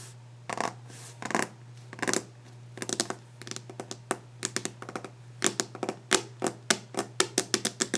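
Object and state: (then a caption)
Varnished wooden desk top. Long nails tap aggressively on a solid varnished wooden desk top with fast fingertip drumming, alongside some brief scratching. Sharp, bright, dry clicks and short rattling bursts come in quick irregular clusters that grow denser toward the end, over a faint steady low hum.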